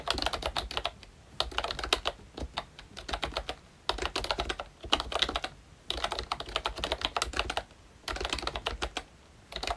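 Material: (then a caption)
Plastic. A full-size ROYCHE Disney Mickey Mouse retro membrane keyboard with round plastic keycaps is typed on continuously with the fingertips of both hands. Bursts of quick, bright plastic clicks and soft key thuds come in runs separated by brief pauses.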